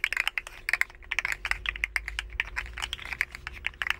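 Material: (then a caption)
Plastic. A hand-sized, rainbow, segmented hollow plastic slug fidget toy is held in both hands and bent and flexed with the fingers, making its jointed segments click against each other. A rapid, uneven run of short, dry, bright clicks, centered around 2 kHz, continues for the whole clip with almost no ring after each one.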